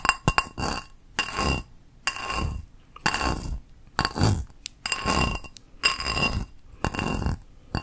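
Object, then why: Small ceramic bowl. A small, hollow, empty teal ceramic bowl with a textured geometric exterior is held up and tapped on its outer surface with long acrylic nails. Bright clinking taps come in short bursts separated by brief pauses, each ringing with a high tone and a little low body.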